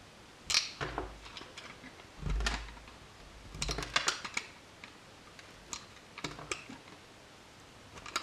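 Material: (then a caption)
Soap. A solid blue bar of soap held in the hand is scraped and shaved with a metal utility knife blade, producing flakes and curls. Crisp, bright scraping and crackling strokes come in irregular bursts, some with a soft low rustle beneath, separated by quiet pauses.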